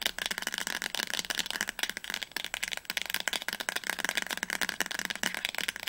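Long nails tap quickly on the spine of a teal paperback novel, *Das Labyrinth erwacht*, held upright. The result is a dense, continuous run of sharp, bright clicks with almost no low end and very short decay.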